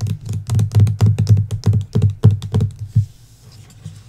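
Long nails give rapid taps across the cover of the 'Belladonna' hardcover book with its paper dust jacket. The taps are dull, low-pitched and come in quick, uneven bursts, then thin out into quieter scattered ticks for the last second.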